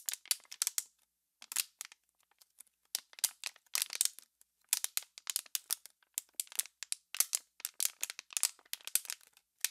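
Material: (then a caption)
Plastic. An empty, hollow, clear plastic water bottle with embossed lettering is held in both hands with long pink-painted nails and squeezed and crinkled close to the mic. Dozens of sharp, dry crackles come in quick bursts with short pauses between them. The sound is bright and high, with almost no low end, and each snap dies away instantly.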